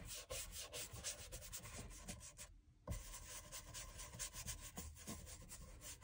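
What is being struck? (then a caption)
Leather shoe sole scrubbed with a bristle brush. A small wooden-handled bristle brush scrubs cream into the solid leather outsole and waist of a loafer held upside down. Steady, dense rubbing strokes carry a broad bright hiss over low thumps, broken by a short near-silent pause just before the three-second mark before the scrubbing resumes.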